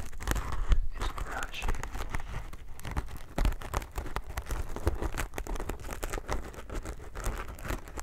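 A plastic-wrapped sponge pack is held near the microphone while fingertips and nails scratch and tap its wrap. This produces a dense run of crinkly plastic sounds with short clicks and a soft, low-heavy body.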